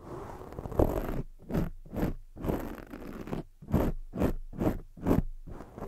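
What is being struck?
Foam microphone windscreen.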